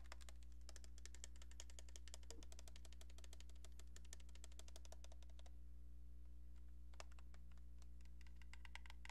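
Long painted nails tap rapidly on a cream-colored hollow plastic landline phone handset with a keypad, held in one hand. Quiet, crisp, bright clicks come in quick, fairly even bursts over a steady low hum, with a brief pause before the tapping resumes.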